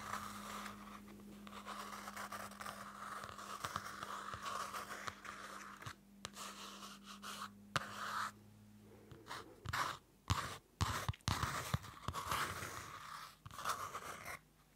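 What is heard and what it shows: Fingernails scratch the card cover of a small Field Notes pocket notebook, a card cover over paper, held close to the mic. Dry, papery scraping and scratching rustles along continuously, broken by sharper bursts and brief quiet gaps. A faint steady low hum sits underneath for the first part.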